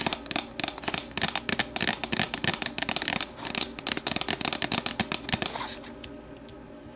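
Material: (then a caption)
Plastic. Long matte nails rapidly tap the sides of an empty, hollow, translucent plastic deli container standing upright. The taps are quick, bright, dry clicks with almost no ring and little low end. They cluster in bursts, then thin out to a few soft taps near the end.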